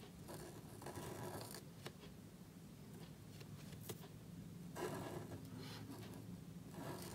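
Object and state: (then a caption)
Marker nib scratching on cardstock. A gold calligraphy marker nib rubs and scratches across a small thin black cardstock card lying flat on a white table, held down by one hand, while writing. Soft, papery scraping strokes come in bursts with short pauses, over a low hum.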